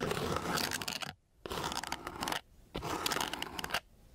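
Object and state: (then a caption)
Coarse sandpaper sheet. The end of a thin wooden craft stick is scratched across a flat, gritty sheet of coarse sandpaper. It makes bursts of dry, bright, rasping scratches, separated by brief silent pauses.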